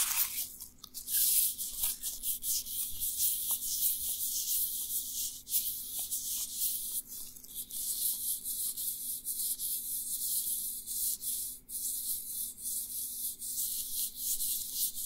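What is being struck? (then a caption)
Nitrile rubber gloves. Two hands in dry, thin, flexible black nitrile rubber gloves rub, grip and squeeze each other. The result is a steady, bright, crinkly rustle with soft squeaky catches and a faint low hum underneath.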